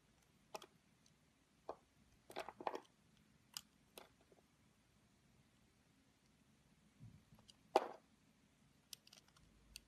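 A metal craft-knife blade carves petals into a palm-sized, yellow-and-white bar of solid soap shaped like a rose, held in the hand over a white table, as chips fall off. Short, dry scraping clicks come in sparse bursts separated by near silence, with the loudest, longer scrape near the end.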